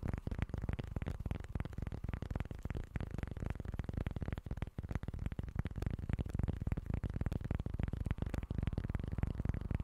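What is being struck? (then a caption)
Small flat cork board. A small, flat, solid cork board held in both hands is scratched with short nails and tapped with fingertips. The result is a dense, continuous run of soft, dull scratches and taps, heavy in low tones with very little high content. The texture stays fairly steady throughout.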